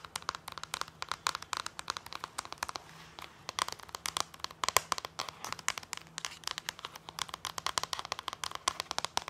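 Fingernails and fingertips tap and scratch colorful plastic DVD discs through clear plastic sleeves on a binder page. The result is a dense run of rapid, sharp clicks and crinkly scratches that are bright and thin, with almost no low end and a faint tone near 1 kHz. Each click dies away instantly.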